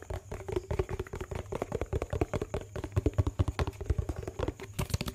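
A yellow plastic dishwash-paste tub with a lid is tapped with fingernails while being rotated in the hands. Around 38 quick, irregular taps over about five seconds make dull, low, hollow clicks with very short decay and almost no high-frequency content.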